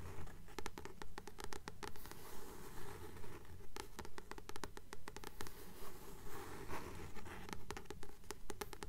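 Long nails tap and scratch the glossy card cover of a blue paperback book with a glossy paper cover, held in both hands as a solid paper book. Quiet, crisp clicks and dry scratches repeat in a steady, even rhythm, each dying away quickly over a soft low rumble.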